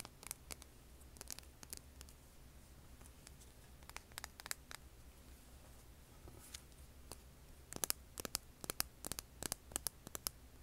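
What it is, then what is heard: Rough rock scratched with nails. Long nails scratch and click across a hand-sized solid rough rock held over an earbud mic, producing sharp, bright scrapes and ticks in scattered bursts. The clicks are sparse at first and grow busier and louder toward the end, over a steady low hum.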